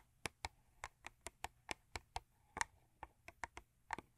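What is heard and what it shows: Long acrylic nails tap quickly on a thin cardboard Crest toothpaste box lying flat. There are 16 short, dry, hollow clicks with a bright edge and a tone around 920 Hz, each dying away almost instantly at an uneven pace.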